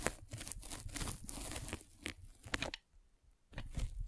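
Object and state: Polyethylene foam net sleeve being scraped.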